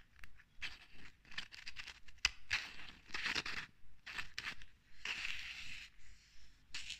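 A small, full-looking glass jar of bath salts with a green label, held in the hand, is tapped and scratched with long red acrylic nails. Irregular bursts of bright, dry scratching alternate with short pauses, and a sharp click of a nail tap stands out partway through. The sound stays quiet and close, with almost no ring after each touch.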